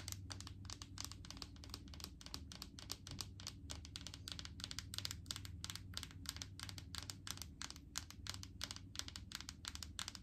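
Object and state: Plastic jar tapped with fingernails.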